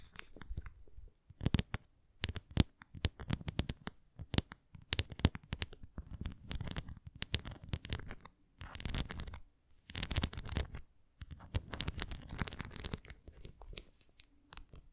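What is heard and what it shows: Long nails scratch and tap the raised nubs and rim of a translucent red plastic flying disc toy held face-on in both hands. Dense bursts of dry scratching and quick taps come in clusters with short pauses between them, giving a soft low thump under a bright crackle.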